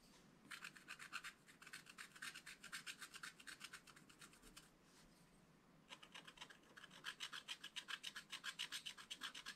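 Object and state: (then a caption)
Scratch art card being scratched. A wooden stylus scratches the coating off a flat black-coated scratch art card in a spiral pad, working around a rabbit figure. Quick, rhythmic, bright rasping strokes come in two runs separated by a brief quieter pause, with the second run louder.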